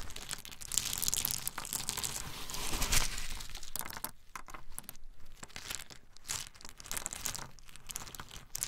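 Small, hard-shelled whole pine nuts are held in both palms and rubbed and stirred with the fingertips. It makes a dense, continuous crackling and crunching of shells clicking and grinding against each other, with bright, crisp highs over a soft low rumble. The texture is busiest in the first three seconds, then thins into sparser, irregular clusters of clicks.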